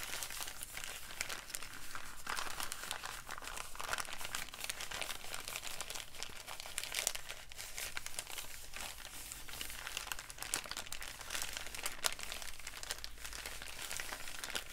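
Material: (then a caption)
Paper. A wrinkled, empty brown kraft paper bag is crumpled and crinkled with fingertips. Dense, bright crackling rustles run continuously over a steady low hum, with occasional sharper crinkles standing out.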